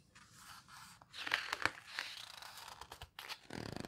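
Long red-painted nails and fingertips squeeze, rub and turn the thick, coarse paper pages of a large open hardcover book of houseboat photos. Soft, dry rustling and scraping swell into sharp, bright crackles and crinkles as a page is gripped and flipped, then settle into quieter brushing and a final run of quick scratchy rubs.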